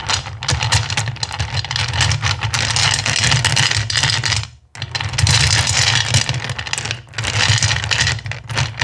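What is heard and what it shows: Hands rake and rummage through a full bowl of small, solid, clear acrylic gem stones after a handful is held in the palm. The result is a dense, continuous rattle of bright clicking over a steady low hum, with a brief pause near the middle before the rummaging resumes.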